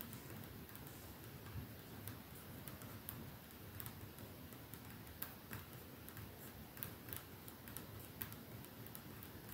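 Slow, sparse taps on a perfume bottle make quiet, sharp ticking clicks with a bright edge. Each tap fades quickly over a faint, steady low background hiss.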